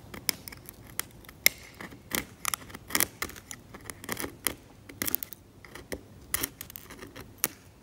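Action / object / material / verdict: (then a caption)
scrape / varnish and paint layer on a canvas oil painting, scraped with a steel scalpel / varnish / none. A steel scalpel blade scrapes flat, cracked, yellowed varnish off the paint layer of an old oil painting on canvas, lifting flakes. About twenty short, bright scratching clicks and rasps sound over a quiet background, with almost no low end and no ring after each stroke.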